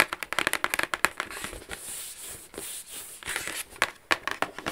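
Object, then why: Rigid cardboard gift box. Long acrylic nails tap and scratch across the lid of a medium, flat, rigid black cardboard gift box with a Versace logo, hollow and closed. Quick, bright clicking taps come first, then a steady hissing scratch across the lid, then more crisp taps at the end.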